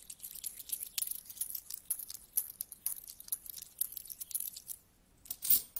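A large pile of mixed small solid metal coins on a carpet is handled: coins are dropped from the fingers, then flat hands sweep and shuffle the pile. The result is a quiet, dense run of bright, short metallic clinks and jingles with almost no low end. A brief near-silence comes late, followed by a louder final rustling sweep.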